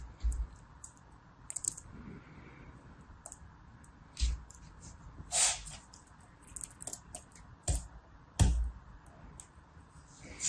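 A hand-sized, solid lump of yellow and red kinetic sand on a blue mat is squeezed, crumbled and pressed with the fingertips of both hands in a crushing, rubbing action. Quiet grainy rustling runs throughout, broken by soft low thumps and short bursts of bright, crisp crackling as the sand gives way.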